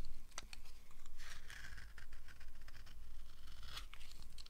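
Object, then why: Bar of soap. A thin, solid yellow oval slab of dry bar soap is carved with a red-handled knife, giving dry, crisp scraping and shaving sounds in an uneven rhythm. Partway through, the blade pulls away from the soap for a moment before the carving resumes.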